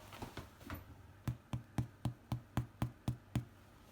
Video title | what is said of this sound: How to make bread with yeast harvested from beer trub! | turn it out upside down and knock it and see if it sounds Hollow sounds perfect to me